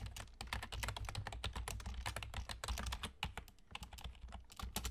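Fingertips with short nails on both hands rapidly type on a full-size black plastic computer keyboard with German key labels and hollow keys. A dense stream of short, bright, clicky key taps sounds over a steady low rumble, each tap dying away almost at once.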